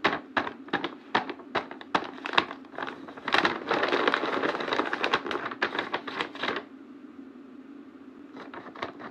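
A large, flat, printed paper blind bag, hollow with small packets inside, is held against a cardboard backdrop and handled, pressed and tapped with fingertips and painted nails. Sharp, bright taps come first, then a dense stretch of crinkling paper. It settles into quiet rustling with a few final taps.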